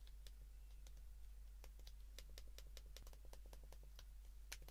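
The plastic keypad buttons of a white plastic flip phone, held in the hands, are pressed rapidly with the thumb and fingertips. This gives a quick run of short, bright plastic clicks over a steady low hum.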